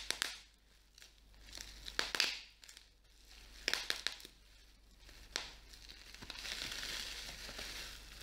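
A small piece of clear plastic bubble wrap is held in the hands while individual bubbles are pinched and popped with fingertips and nails. Sharp, bright pops and crackles stand out over softer crinkling and rustling of the plastic, with a stretch of steady hissy crinkle near the end.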